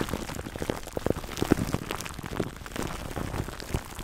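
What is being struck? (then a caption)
Plastic cling film wrapped over foam. Fingertips scratch clear plastic cling wrap stretched over a black foam microphone windscreen. The result is a dense, uneven crackle of soft crinkles and rustles, close and low-heavy, with scattered sharper snaps standing out over a rain-like patter.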